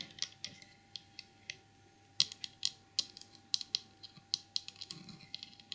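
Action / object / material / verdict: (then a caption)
tap / small glazed porcelain trinket box / porcelain / none. Long purple nails and fingertips tap and scratch the side and ear of a small white glazed porcelain elephant trinket box with a painted saddle. The result is an irregular run of sharp, bright clicks centred high. Each click dies almost instantly, with faint scratchy rustle between the taps.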